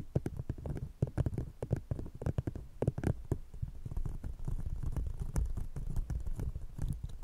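An empty brown paper or cardboard coffee cup placed over a fluffy microphone is tapped and scratched with the long painted nails of one hand, while a second cup is left untouched. The result is a rapid patter of muffled, bassy thumps with almost no ring. It settles into a denser, steadier low scratching rumble in the second half.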